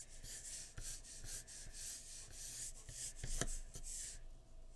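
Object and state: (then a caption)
Pencil scratching on drawing paper. A graphite pencil tip makes short scratching shading strokes along a drawn jawline on a large flat sheet of white drawing paper resting on a wooden surface. Repeated bursts of bright, papery scratching hiss are heard, with faint low taps as strokes begin, continuing steadily throughout.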